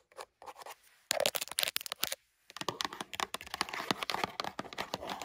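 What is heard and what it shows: Long burgundy nails scratch and tap quickly on the edges and faces of a small, hollow, printed LEGO cardboard box. The sound is a dense run of bright, crisp scratches and light, dry taps that die away instantly, with a brief pause in the middle.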